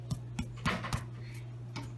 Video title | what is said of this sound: How to Make Sourdough Bread That Tastes Great! | it has a little bit of a hollow sound